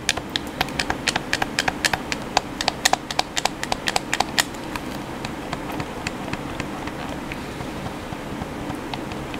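Fingertips tap and press the chrome face buttons of a hollow black plastic PS4 controller. They make quick, sharp, bright clicks at an uneven pace, dense and prominent for the first half and then sparser and softer. A steady low background hiss runs throughout.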